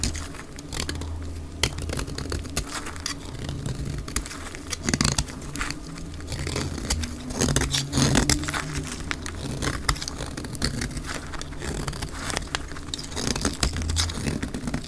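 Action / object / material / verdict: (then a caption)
scrape / bar of soap scraped with a knife blade / soap / none. A utility knife blade scrapes the edge of a dry white bar of soap held in the hand, shaving it into white flakes. Dense, crisp scratching and rapid dry ticks run throughout over a steady low hum. Brighter clicks stand out at intervals.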